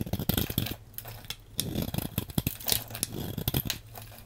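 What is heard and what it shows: A metal blade with a patterned handle shaves and scrapes flakes and chunks off a solid, hand-sized blue bar of soap held in one hand. The result is a rapid series of crisp, crunchy scrapes with soft low thumps beneath bright, hissy highs, separated by brief quieter gaps.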